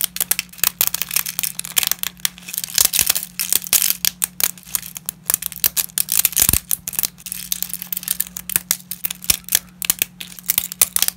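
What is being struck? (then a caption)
Dry lasagna pasta sheets. Black-gloved fingers snap dry lasagna pasta fragments into smaller bits over a pile. A rapid, irregular run of sharp, dry cracks and brittle crackles sounds mostly high and bright, each one ending almost instantly. A faint steady low hum runs underneath.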